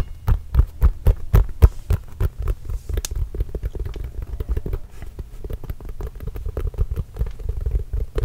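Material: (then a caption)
Composite leather. A full-size Spalding composite leather basketball, hollow and inflated, is held close and tapped and scratched with the fingertips. Quick, deep, hollow thumps with almost no ring come first, then settle into a softer, rapid, uneven patter with faint scratching. Nearly all the sound sits in a low, throbbing rumble.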